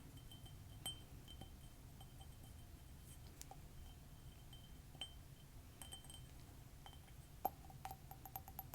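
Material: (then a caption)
Ceramic. A color-changing ceramic mug, where a ninja design disappears and turns into a frog, from a Japanese online store is tapped lightly while being shown. Short, bright clinks with a chime-like ring sound over a low background rumble, with a stronger tap near the end.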